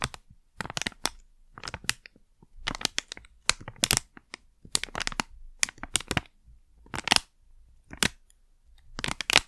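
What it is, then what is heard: Crinkled plastic pouch. A small, flat, sealed plastic Blu Tack pouch is held in both hands, crinkled and scratched with long nails. Short bursts of bright, crackly crinkling and scratching come in irregular clusters separated by near-silent pauses. The sound is mostly high-pitched with little low end and stops dead after each burst.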